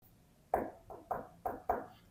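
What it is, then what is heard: Hollow plaster beside a wall crack. Five knocks on wall plaster next to a crack give short, hollow, knocking tones centred around 700 Hz, each dying away quickly. The hollow sound shows the plaster around the crack is damaged and unstable and should be chiseled out before filling.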